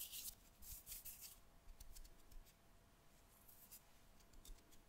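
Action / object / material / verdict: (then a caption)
scrape / kinetic sand on a wooden board / sand / none. A lump of pink kinetic sand on a wooden board is pressed flat with the palms and fingertips, then lifted and pulled apart. Quiet, soft, gritty crackles and brief bright crunches come in a burst at the start, then settle into fainter rustling with a few scattered crisp flicks over a low, dull rumble.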